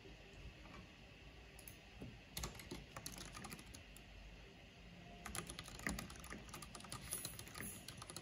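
Rapid key tapping on a full-size black plastic mechanical computer keyboard with a purple backlight and a hollow housing, typed on with long painted fingernails and fingertips. Quiet, dense clicks and clacks with bright, sharp edges, busier toward the end, sit over a steady low hum.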